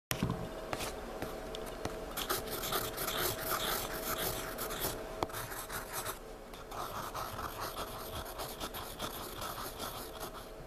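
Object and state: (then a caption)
Pencil shading on sketchbook paper. A wooden graphite pencil scratches and shades dense, dark strokes across a thick paper sketchbook page lying flat, recorded close-up. A continuous, irregular rasping scrape fills the clip, with bright, gritty hiss and occasional sharper strokes. A faint steady hum sits underneath.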